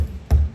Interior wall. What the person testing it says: sounds very very Hollow this entire portion